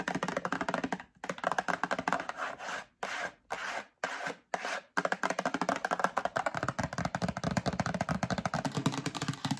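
Long acrylic nails rapidly tap and scratch the faces of a medium printed cardboard Breakfast Essentials box held in the hand. Quick, dry, papery clicks run almost continuously, broken between about three and five seconds by short bursts of rasping scratches separated by brief silences. The fast tapping then resumes to the end.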